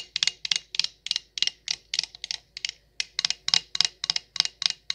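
An empty, hollow stemless wine glass with a printed logo label is tapped with long acrylic nails. The result is a quick, uneven series of short, bright clicks, each dying away almost at once with hardly any ring or low end.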